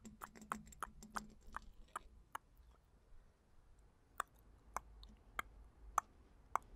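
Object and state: Glass perfume bottle.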